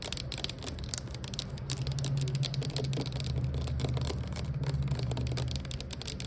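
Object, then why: Plastic air freshener bottle. Long acrylic nails rapidly tap and scratch the body and label of a clear plastic Glade air freshener bottle, about 460 ml, hollow with liquid inside and lying on its side. The result is a dense, irregular stream of crisp, bright clicks and scratchy rustles over a steady low hum.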